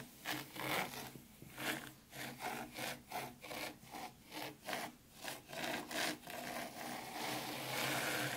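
Both hands with very long, pointed pink acrylic nails rake and scratch through fine, dry white sand in a shallow black round Zen garden tray. Rhythmic, bright, scratchy rubbing strokes rise and fade one after another, then blend into a steadier hiss at the end.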